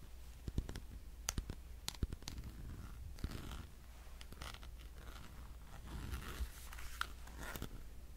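Fingernails tap the edges and faces of a solid black plastic power bank, producing sharp, dry clicks and light scratchy taps with almost no ring. The taps come in irregular bursts over a steady low hum, with some brighter ticks standing out above the quieter scraping.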